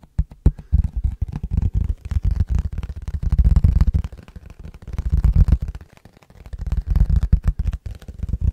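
An empty, clear rectangular plastic food container with a lid is held in both hands and tapped with the fingertips and nails. Rapid, short, hollow thuds come in dense bursts that swell and fade. The sound is deep and muffled, with almost no bright edge.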